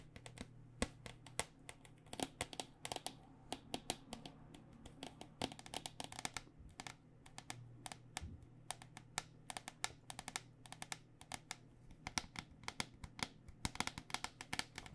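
A white plastic cycling helmet, held upside down with its hollow plastic shell over foam, has its shell edge tapped with long dark nails. A rapid, irregular stream of light, dry clicking taps with bright tops dies away almost instantly, over a faint steady low hum.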